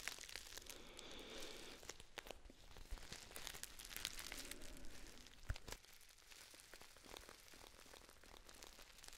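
A Dammann foil tea pouch with a paper label is crinkled and scratched with long nails, giving a soft, steady crinkling with bright, sharp crackles and scratchy rustles. A louder crackle stands out in the middle, after which the crinkling continues more quietly.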